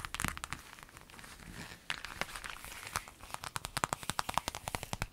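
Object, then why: Clear vinyl zip pencil bag. An empty clear lemon-print vinyl zip bag lying on a table is scratched and rubbed with long nails. Soft crinkling rustles give way to a quickening run of sharp, bright plastic ticks and scrapes with almost no ring.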